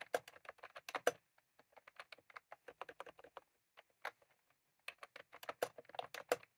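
Fingertips of both hands type continuously on a full-size plastic computer keyboard with round cream typewriter-style keycaps on a desk. About 29 short, crisp plastic clacks sound in quick bursts with a mid-pitched tone and almost no low end, each dying away almost at once. The typing pauses briefly a few times between runs.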